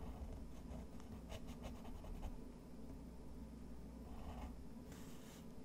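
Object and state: Textured watercolor paper under a pen nib.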